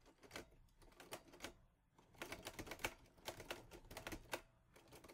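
Fingertips type on the keys of a teal metal Olivetti Lettera 22 portable typewriter. Bursts of sharp, bright clacks decay almost instantly, with a brief pause before a denser run of keystrokes.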